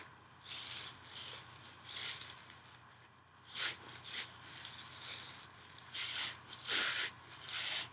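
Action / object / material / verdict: scrape / nylon scouring pad / nylon / none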